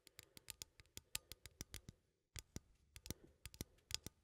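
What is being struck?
Small metal coffee tin.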